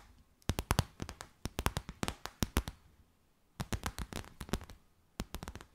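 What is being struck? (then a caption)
Stiff clear plastic bag. Long white nails tap and crinkle a clear, stiff, empty transparent plastic bag stretched between the hands. Quick bursts of sharp, crisp clicks with a soft low thump come in three clusters separated by brief quiet pauses. Each tap dies away almost instantly.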